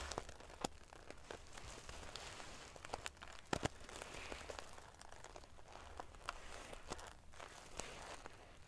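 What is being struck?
Pillow covered in small metal sequins sewn on fabric.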